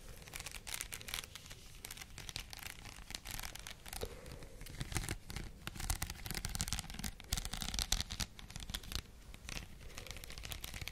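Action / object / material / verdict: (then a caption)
scrape / headband covered in small plastic faux pearl beads / plastic / none. Long nails scratch across a white plastic headband densely covered in small faux pearl beads, held up in both hands. A dense, quiet stream of bright crackling and fine clicking scratches runs throughout, with a low rumble underneath.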